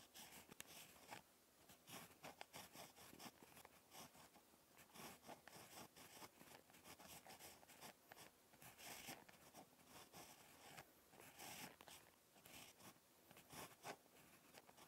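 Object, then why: Ballpoint pen on lined notebook paper. A ballpoint pen tip scratches across a lined paper notebook page during handwriting. Soft, dry, bright scratchy strokes come in quick irregular bursts with brief pauses between words, close and quiet with little low end.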